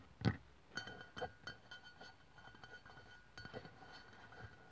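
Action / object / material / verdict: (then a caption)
tap / aluminium aerosol can / aluminium / none. Long pink-white press-on nails on both hands tap the lower body of an upright white aluminium aerosol deodorant spray can, a hollow metal can standing on a wooden table. About nine quick, light clicks of varying strength are heard, each with a short, dull metallic tick that dies away almost at once, over a faint steady high tone.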